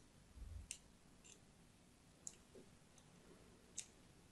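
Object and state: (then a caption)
Soap bar being scored with a blade. A thin blade scores crosshatch lines into the surface of a solid, palm-sized pink-and-white striped soap bar held in the hand. Quiet, crisp, bright clicks and scratches repeat over a soft low rumble, and each cut stops short with almost no ring.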